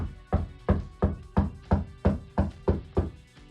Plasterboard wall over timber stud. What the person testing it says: it just sound a little bit more dense a little solid